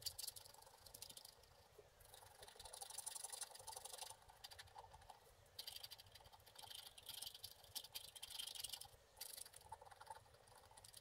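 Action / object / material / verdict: scrape / wax-coated scratch art card scraped with a wooden stick / wax coating / none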